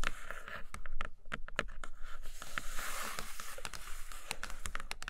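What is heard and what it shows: Long acrylic nails tap and scratch the printed bottom inside a large, empty, flat brown kraft cardboard box tray. Quick, dry taps with a bright click ring out over a continuous soft scratching hiss. A low, dull thump sits under each tap.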